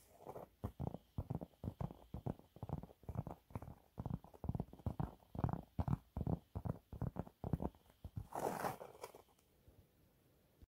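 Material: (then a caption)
Cellulose sponge. A dry, yellow, embossed cellulose sponge cleaning cloth, a thin flat sheet about A5 size, is held up in both hands and scratched, tapped and gripped with short fingertips and nails; rings on the fingers do not strike it. The result is a rapid series of short, dry, soft scratchy taps with quick onsets, weighted toward low frequencies. A longer, brighter rustling scrape comes near the end before the sound falls quiet.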